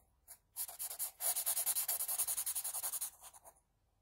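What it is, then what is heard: Pencil shading on drawing paper. A wooden HB pencil, held at a low angle, shades the hair area of a pencil portrait on flat drawing paper in quick strokes. After a faint first scrape, the graphite rubs and scratches across the paper in a rapid, fairly steady run of bright, hissy strokes that fade out near the end.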